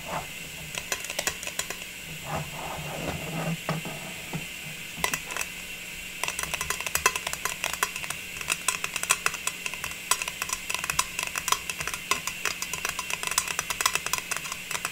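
Fingertips and long nails tap the blue snowflake lid of a round, striped metal cookie tin that is held up. Quick, bright metallic clicks with a thin ring around 2.6 kHz come in dense, uneven bursts, growing busier in the second half over a steady background hiss. A softer rustling stretch appears early on.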